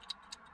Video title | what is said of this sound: Audi no start after accident (fixed) | there's something loose there, so it makes a noise. It's a loose part.